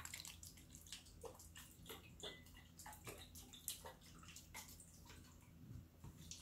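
A small clear glass jar with a green lid, partly full of water, is held in one hand with long nails and shaken side to side. Water sloshes and splashes inside with repeated bright, splashy bursts over a low steady hum.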